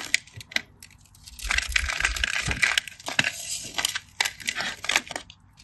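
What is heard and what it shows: A craft knife blade cuts and scrapes crumbly cubes off the surface of a solid cream bar of soap that is already scored and held in the hand. Crisp, bright scratching and crunching cuts come in quick bursts, with a denser stretch of scraping in the middle. Small pieces crumble away with each short, dry stroke.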